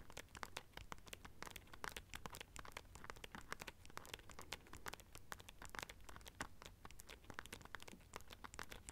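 Long nails scratch and tap the silver studs on a small black rhinestone-studded clutch pouch. Rapid, dense, dry clicks and crinkly scratches overlap, each tick bright and very short with almost no ring, over a faint low rumble.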